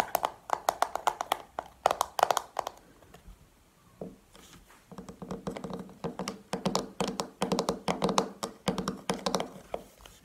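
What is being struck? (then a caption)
Small plastic powder compact. A small, hollow, round black plastic makeup compact is held and tapped with long painted nails. Rapid bursts of crisp, clicky taps with almost no ring are broken by a quieter stretch of softer scratching near the middle before the tapping resumes.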